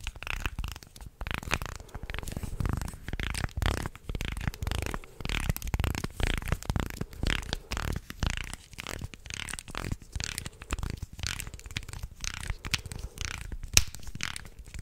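A wooden segmented shark toy is bent into an arc close to the mic, its slats crunching and clicking while fingers scratch across them. The result is a dense, continuous run of short, dry clicks and rough scraping with a heavy low-end thump and bright crackle on top.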